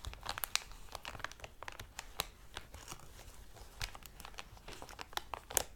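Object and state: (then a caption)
Crinkling plastic cellophane bag. Fingertips and palms with short dark nails crumple and crinkle a medium-sized, thin-walled, thick clear plastic cellophane packaging bag with a squishy toy inside. The result is a dense, bright, crackling crinkle broken by many sharp, dry snaps that die away instantly, with little low-end weight.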